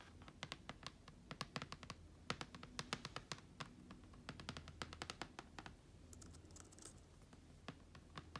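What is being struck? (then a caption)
Plastic laptop lid with vinyl stickers. A hand with long dark nails and a large silver ring taps and scratches across a closed, thin, hollow black plastic laptop lid covered in vinyl stickers (deftones, TOMS, Apple logo, heartbeat, felt shamrock), resting on carpet. Quick, dense clicky taps with bright edges come in an irregular, typing-like rhythm, while soft scratchy brushes sound between them. A low hum sits underneath throughout.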